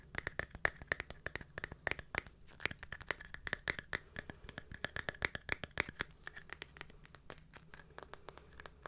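A small round silver glitter-covered jar with a lid is turned in the hands and scratched with long nails across the glitter surface and the lid rim. Dense, rapid scratchy clicks and crackles come in quick bursts, with a faint ringing tone near 1.8 kHz and bright, gritty edges. Each sound is short and dry, with almost no decay.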